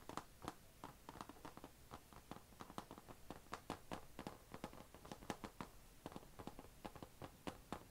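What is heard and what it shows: Long nails tap quickly on the closed lid of an HP laptop, a thin, hollow, dark grey painted plastic and metal shell, and around its chrome logo badge. The result is a quiet, steady run of short, dry clicks with a hollow midrange knock and bright tips, each dying away almost instantly.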